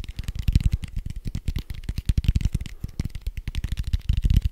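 A large red foam dice with white dots, made of soft foam, is held up and tapped and scratched quickly with fingertips and nails. The result is a dense, rapid stream of soft, dull low thumps with faint scratchy brightness above, each tap dying away almost instantly.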